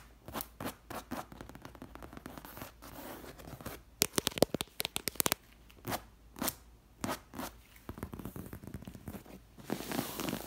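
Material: Leather.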